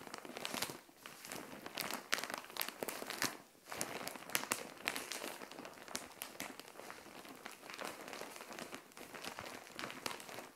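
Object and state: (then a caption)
Plastic mailer bag. Long nails scratch, tap and crinkle a plastic Shein mailer bag filled with soft green clothing, working it with both hands on a tile floor. The result is dense, bright crinkling and crackling with many quick sharp taps, dipping briefly into quieter pauses.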